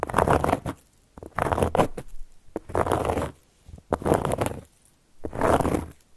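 Long gold metal claw nail caps scratch and trace across a solid, round, flat cork board. Five dry, rasping scratch strokes arrive in bursts separated by short quiet pauses. The scratching is a gritty, textured sound centered in the mids, with a bright edge.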